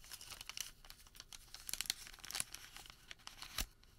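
A thin sheet of printed thermal paper receipt is folded, rolled into a tube and squeezed with bare fingertips. The result is a bright, dry crinkling with quick sharp crackles and snaps that come in irregular bursts, with little low-end body.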